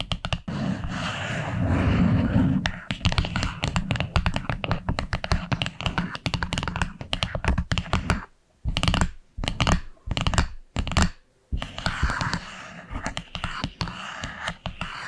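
Long acrylic nails tap and scratch rapidly across the dark wood lid of a small, flat wooden box, making dense, dry clicks over a hollow, low thud. Midway the tapping slows into a few separate knocks with short silences between them, then the quick tapping and scratching pick up again.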